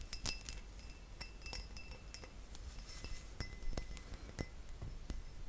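A glass object is tapped with the fingers, giving a string of quick, light clinks with bright, brief ringing tones over a steady low hum. The taps come irregularly, some softer and some sharper, and each dies away almost at once.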